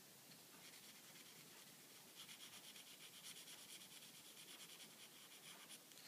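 A blue Sharpie marker's felt tip, held in the fingers, is rubbed back and forth across a thin, flat, clear plastic film sheet laid over a printed line drawing on a table while coloring. It makes a quiet, bright, squeaky scratching rub that grows into quicker, more rhythmic strokes partway through.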